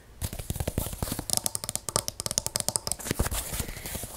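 Long acrylic nails scratch and tap quickly along the black polka-dot nylon canopy of a compact folded umbrella with a plastic handle, lying on a wooden table. A fast run of short, dry taps mixes low fabric thumps with bright, crinkly scratching that stops almost instantly after each hit.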